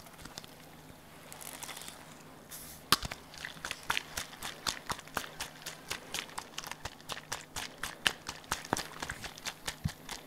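A small hollow pink plastic bottle is held in one hand and tapped and shaken with the fingers. After a faint, soft rustling start, a long run of quick, crisp, bright tapping clicks follows, dry and short with almost no ring, over a faint low steady hum.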